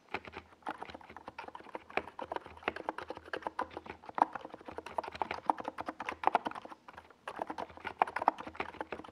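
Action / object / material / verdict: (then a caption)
tap / plastic mechanical keyboard with tall SA keycaps / plastic / none. Rapid fingertip typing with both hands on a NiZ Plum Atom 68, a compact 68-key plastic mechanical keyboard with a hollow white plastic case and purple and yellow Domikey Gas Attack SA plastic keycaps, resting on a desk pad. Dense, quick clacky key taps with a hollow, mid-pitched tone run steadily, with a brief pause near the seven-second mark before the typing resumes.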